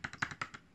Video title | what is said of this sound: Best Water Resistant Cases | You can hear tapping on this little plasticky front screen protector if you're, say, on speakerphone talking to somebody.